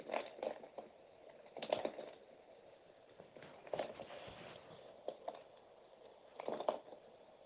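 A metal utility knife blade cuts and shaves chunks from a partly carved solid bar of pink and white layered soap held in the fingers. Crisp, crackling scrapes come in short bursts and small clusters, centred in the midrange with a quiet hiss between strokes and little bass or high end.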